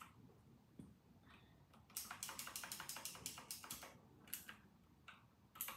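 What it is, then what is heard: Mechanical keyboard typing. Typing with fingertips on a full-size RK960 plastic mechanical keyboard with round typewriter-style keycaps. A steady run of bright, sharp clicks fills the middle of the clip, followed by a pause and then a few more scattered keystrokes over a low background hum.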